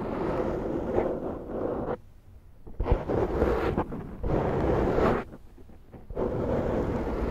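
Long nails slowly scratch the side of a large round black foam windscreen on a Zoom microphone. This makes deep, muffled, rumbling scrapes with a heavy low end and almost no bright content. Sustained stretches of scratching are broken by brief near-silent pauses.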